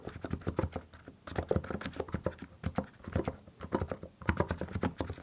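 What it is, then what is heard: Mechanical keyboard with plastic keycaps. Both hands type with their fingertips on a compact mechanical keyboard with plastic keycaps, producing a steady run of about thirty quick, separate keystrokes. Each press is a short, deep, muted clack that dies away almost at once, with little high or bright content.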